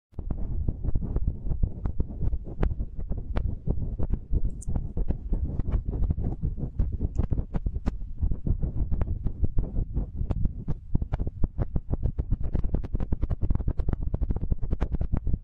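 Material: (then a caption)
Metal. Fingertips of both hands press, rub and tap the sides of the two small cylindrical metal X/Y microphone capsules on a TASCAM handheld recorder. Close to the mics, this makes a dense, continuous stream of deep, muffled thumps and throbbing rumble, with almost all the energy in the low bass around 59 Hz. Occasional sharper clicks cut through, and every hit dies away instantly.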